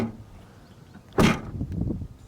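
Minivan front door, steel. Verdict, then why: Solid. A steel door on a base-model 2016 Honda Odyssey minivan is shut as a door test. After a quiet stretch, it closes with one loud, low thud followed by a short rattle and a few softer knocks as it settles. The closing sound is pretty solid.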